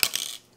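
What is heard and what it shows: An AMEX Gold credit card is dropped, landing with two quick, bright clicks about a tenth of a second apart. The sound is a thin, high-pitched metallic clatter with almost no low end, fading out within about half a second.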